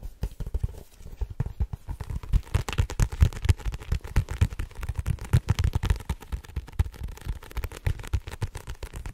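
Long fingernails on both hands tap fast across the front card cover of a blue-covered paperback book. The result is a rapid, dense patter of dull, low thuds that stop almost instantly, with very little brightness.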